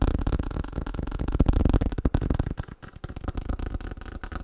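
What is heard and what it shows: Fast tapping on a thin plastic sheet, heard as a quick, uneven stream of short, dull, low-pitched taps that die away almost instantly. The taps ease off briefly near the middle before picking up again.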